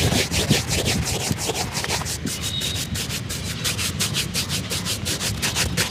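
A hollow, empty black leather shoe held on a lap is brushed repeatedly along its leather upper with a dark shoe brush. The steady back-and-forth rubbing strokes come at a brisk, loosely regular pace, giving a bright, airy swish over a low, soft rustle.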